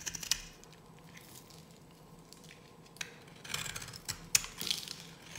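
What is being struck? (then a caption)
Bar of soap cut with a metal blade. A solid, dry pink bar of soap held in the hand is carved with a metal blade, shaving off powder and flakes. Short, crisp, high scraping and cutting scratches come in scattered bursts over a faint, steady background hiss, with no ring after each stroke.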